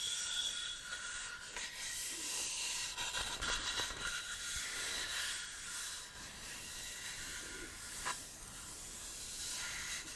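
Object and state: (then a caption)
Beech wood board. Fingertips and flat hands rub and scratch across the surface of a solid beech wood plank held tilted. The result is a steady, bright, hissy scraping texture, mostly high in tone, with a few sharper scratches standing out.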